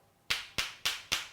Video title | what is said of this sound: Christmas Eve: Pop's Baccala & Zuppa di Clams E7 | sounds like two um balls that are billiard balls right hard solid not hollow